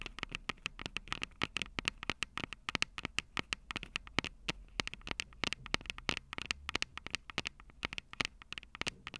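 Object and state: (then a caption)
Handheld audio recorder tapped with fingernails. Long purple acrylic nails tap rapidly on the two metal-grilled microphone capsules of a Tascam DR-05 handheld recorder with a plastic body. Dozens of quick, dry, bright clicks follow one after another in an uneven rhythm. Each click stops instantly with no ring, over a soft, crackly background.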